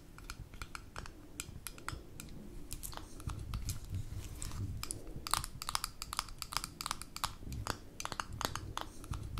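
Long nails tap and scratch the gold metal screw lid and rim of a small amber glass jar held in the hands. Rapid, sharp, bright clicks sound in quick irregular runs over a soft, low scratching rustle, each tap dying away almost at once.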